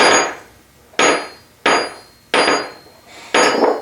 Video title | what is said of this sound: Engine 02 Babbitt Caps and Block | it's ringing and once it cools down to room temperature it'll even ring more than that